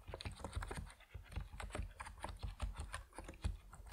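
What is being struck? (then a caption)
Mechanical keyboard with plastic keycaps. Fingertips of both hands type on an Epomaker NiZ Plum Atom 68, a 68-key compact mechanical keyboard with white and purple PBT plastic keycaps resting on a wooden desk. A quick, steady run of short, deep, muted keystrokes with a soft clacky top sounds, each one dying away almost instantly.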